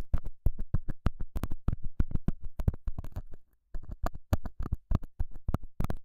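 A straight, pointed metal scaler tip scratches and pokes the surface of a small, square, solid beige felt pad mounted over a small lavalier mic. The result is a fast, uneven run of short, dull, deep scuffs and thumps with almost no ring, broken by a brief silent pause midway.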